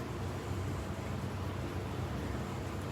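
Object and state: Nothing is struck.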